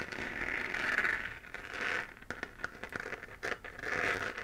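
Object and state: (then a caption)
3D-printed plastic moon lamp. Fingernails scratch around the edge of a hollow, textured, 3D-printed plastic moon-lamp sphere glowing white. Dry, raspy scraping swells and fades in long strokes centered in the upper midrange, broken in the middle by a run of sharp, bright ticks and crackles.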